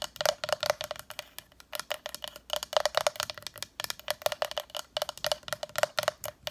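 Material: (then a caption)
Wood. A small decorative wooden sign from a dresser, painted black on the back and all sides with a brown front, is tapped rapidly and repeatedly. Each tap is a short, dry, hollow knock with a faint ring around 600 Hz, coming in quick bursts like a wood block.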